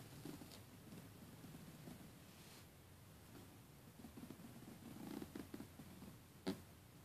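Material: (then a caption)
Plastic. Fingernails and fingertips scratch and tap along the teeth of a closed black plastic zipper and its edge piping on a red polyester soft suitcase. A quiet, steady, low scratchy rustle runs throughout, joined near the end by several short, sharper taps, with one brief bright click standing out just before it fades back to soft scratching.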